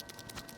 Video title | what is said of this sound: #17 - How to fix your faulty KSGER T12 Soldering Station. Factory damaged capacitor! | You can hear that rattle. That's the shaking switch that's inside the handle.